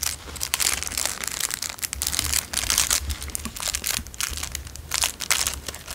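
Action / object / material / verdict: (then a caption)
scrape / clear cellophane wrapper / cellophane / none. A small, narrow, empty clear cellophane wrapper is crinkled and rolled between the fingertips. It makes a steady stream of bright, crackling crinkles that swell and fade in uneven bursts, with a faint low hum underneath.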